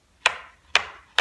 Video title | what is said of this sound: My Thoughts - Stillman & Birn | If you just kind of flick the paper, you can hear that it's going to be pretty thick or pretty thin.